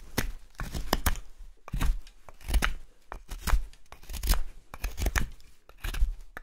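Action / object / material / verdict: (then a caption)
scrape / wooden spoon blank, light carving wood / wood / none. A solid, pale wooden spoon blank of light carving wood is held upright and whittled with a steel knife in repeated slicing strokes. Each stroke gives a short, dry, scraping shave with a low, dull thud underneath and no ring. The strokes come at an uneven pace.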